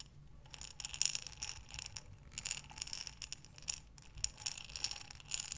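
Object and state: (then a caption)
Glass jar full of buttons. A glass mason jar with a metal lid, full of buttons, is tilted and turned by hands with long nails. The buttons slide and clink against the glass in a quiet, continuous rattle of short, bright clicks with a few louder taps.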